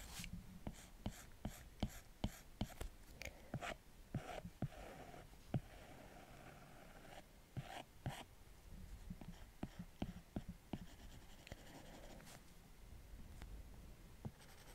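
A plastic Apple Pencil tip draws curved strokes on the glass screen of a large iPad Pro, moving across the glass while a left hand rests on the tablet. About eighteen sharp, quick taps with very short ring punctuate soft, low, scratchy sliding strokes. It's quiet and close, with most of the sound sitting low and little brightness.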